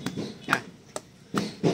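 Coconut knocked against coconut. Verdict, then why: Cracked. A cracked coconut, its crack hard to see, is knocked five times in separate short taps. Each knock gives a dull, short "buk" with a low body and a faint higher tone, and that sound shows the sorter the coconut is cracked.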